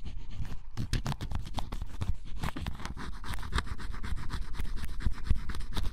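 A flat metal blade scrapes the black coating off the coloured area of scratch-off cardboard jigsaw puzzle pieces with a bunny drawing, leaving black flakes behind. Quick, uneven strokes make a steady run of dry, bright scratches at about four per second over a low rumble.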